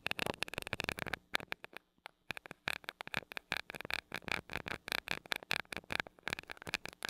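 A glass rod taps and rubs the small gold metal mesh grille of a mini microphone. Rapid, crisp, bright clicks and scratchy brushes come in quick runs with almost no ring, broken by a brief near-silent pause around the two-second mark.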